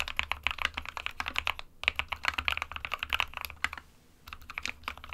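An SK61 small 60% mechanical keyboard with a white plastic case and plastic keycaps, resting on a printed desk mat, is typed on with the fingertips of both hands. Rapid, bright, sharp key clicks centered around 2 kHz follow each other with almost no ring, broken by brief pauses near 1.7 and 4 seconds.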